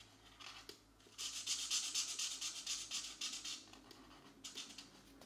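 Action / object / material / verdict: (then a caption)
scrape / felt marker on a paper coloring book page / paper / none. A colored marker tip makes short rubbing and scratching strokes across a paper mandala page in a coloring book. The bright, hissy scratches start soft, build into a dense run of quick strokes in the middle, then thin out into a few lighter strokes near the end.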